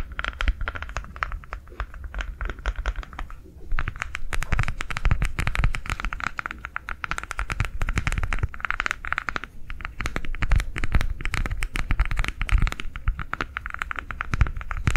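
A green ribbed silicone coaster, rolled into a tube in the hands, is scratched and tapped with long nails. A fast, dense stream of short, dull taps and scratchy ticks carries a low, thumpy body with a brief lull near 3.5 seconds, then continues steadily to the end.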